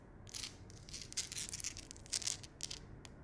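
Long acrylic nails and fingertips tap and scratch along the ridges and crevices of a large, solid wall of rough, layered natural stone on a fireplace or accent wall. Quiet, bright, crisp scraping bursts and short ticks come in irregular clusters, each dying away almost instantly, with very little low-end body beneath them.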